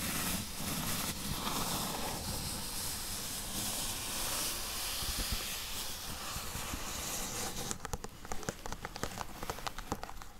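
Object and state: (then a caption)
Cardboard box. Long acrylic nails scratch rapidly across the surface and edges of a flat, closed, hollow, medium-size corrugated cardboard box, first lying on blue fabric and then held upright in both hands. A steady, bright, hissing scrape runs for about the first eight seconds. It then gives way to quick, sharp, dry taps on the cardboard.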